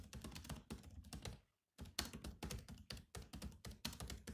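Fingertips type fast with both hands on the black plastic keys of a grey laptop keyboard. A rapid stream of short clicky taps, each a low thump with a bright click on top, runs on with a brief silent pause near the middle before the typing resumes.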